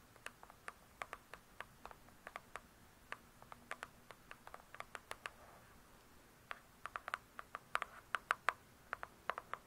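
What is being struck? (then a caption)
Hardcover book with glossy cardboard cover. Long nails tap and scratch the glossy cardboard cover of a large closed hardcover book. About 36 short, dry clicks with a bright edge and a tone near 1.2 kHz come in irregular bursts, with a soft scratching stretch near the middle. The taps get louder and denser toward the end.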